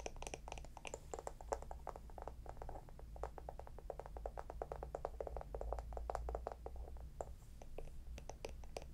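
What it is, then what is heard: Small wooden lidded jar, tapped and scratched. A small, round, hollow wooden jar with a lid is tapped and scratched with long nails. The result is a dense, quick run of short, dry clicks centered in the mid-range, with bright scratchy edges over a steady low hum.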